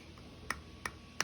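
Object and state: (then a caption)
Sealed canning jar lid. Three quick, light taps on the metal lid of a cooled quart glass jar of pressure-canned tomatoes give short, bright, hollow ticks that die away almost instantly. The lid dips slightly and sounds hollow, showing the jar is sealed.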